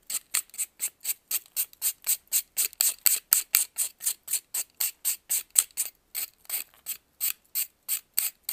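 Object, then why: Pressed baking soda block and metal knife. A metal knife scrapes and carves a solid white faceted block of pressed baking soda held in blue-gloved hands. About 32 short, dry, bright rasping scrapes follow one another at roughly four per second in a loose rhythm. Each stroke cuts off almost instantly with no ring and no low end.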